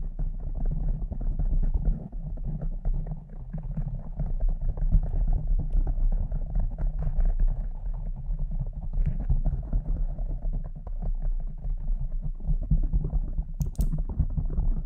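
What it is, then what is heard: Foam microphone windscreen being scratched. A soft, porous pink foam windscreen on a silver microphone is rapidly scratched with the long decorated nails of both hands. The result is a dense, muffled, low rumbling scratch that runs continuously, with almost all of its energy in the deep bass. A brief bright tick comes near the end.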